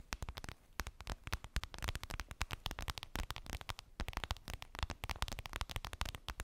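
Long pink nails rapidly tap and scratch a flat, clear vinyl makeup bag, a transparent PVC pouch with a daisy print and a zipper, lying on fluffy fabric. A dense stream of short, dry clicks and crackly scrapes follows, each tap snapping off almost instantly with a soft low thump beneath the bright plastic crackle.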